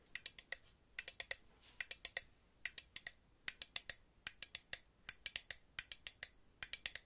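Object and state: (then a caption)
Aluminum hairspray can. A purple aluminum aerosol hairspray can is tapped and clicked with paper clip nails. About 36 sharp, bright clicks land in quick clusters of three to four, each dying out at once with no ring.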